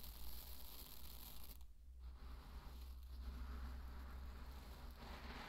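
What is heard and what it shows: Fingertips dig, rake and scratch through a deep bed of dry pearl barley, producing a dense, quiet granular rustle with crisp, crackling bright grain ticks. The rustling briefly thins out in short pauses as the fingers shift, over a steady low hum underneath.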